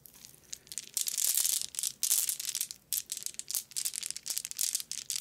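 A small white net bag full of solid glass marbles is held, squeezed and jostled in the hand and fingers. The marbles clack and rattle against each other in dense, bright bursts of clicking with short pauses between them. The sound is almost entirely high and crisp, with no low end.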